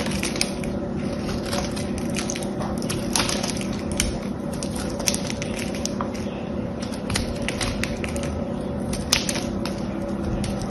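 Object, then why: Dried soap bar with painted crust. A knife scrapes and cuts through a hand-sized, blue, solid dried soap bar with a gold-painted crust, held by a hand with long yellow nails. A steady, dense crunching and scraping fills the clip, with sharp bright crackles as the soap breaks into crumbly blue chips.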